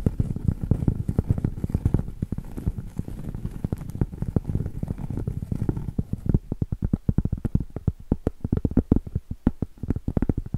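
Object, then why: Round cork board. Long acrylic nails scratch and tap the edge and top surface of a round solid cork board. For the first six seconds a dense, rustling scratch mixes with quick taps, then it turns into a fast run of separate, dull, low knocks that stop almost instantly with no ring.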